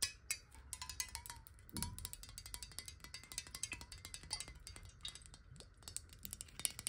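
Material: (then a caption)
Glass. Long nails tap fast on a clear glass water bottle held upright in both hands, making a dense stream of quick, bright clicks with short glassy rings near 1 kHz and 2 kHz. A soft low rumble sits underneath throughout.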